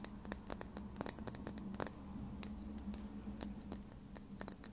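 A small plastic lip gloss tube with a dark cap is held in one hand and tapped and scratched with long red nails. Quick, bright clicks and ticks come in an uneven patter over a soft scratching texture and a steady low hum. Each tap stops dead with no ring.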